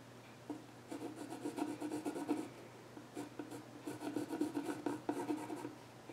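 A yellow pencil scratches drawing lines across the flat top of a solid, dark-stained wooden child's stool while the other hand holds the edge. Quiet, dry scratching strokes come in bursts of rapid rubbing with a woody midrange tone and faint bright hiss. A faint steady low hum sits underneath.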